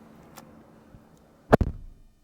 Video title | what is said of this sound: 2024 Lexus GX 550 Premium+ (POV First Drive) | le bruit sourd de la porte fermée est vraiment très solide